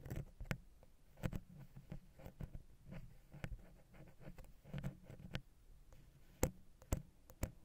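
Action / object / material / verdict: tap / metal microphone capsule tapped with a wooden pick / metal / none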